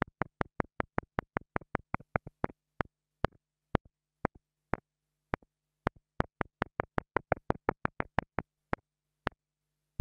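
A small black plastic mini lavalier microphone capsule, a $2 mic, is held between long-nailed fingers and tapped repeatedly on its capsule with the tip of a thin wooden stick. About 36 short, dry clicks come with almost no ring, some evenly spaced and others in quicker clusters, over a faint low hum.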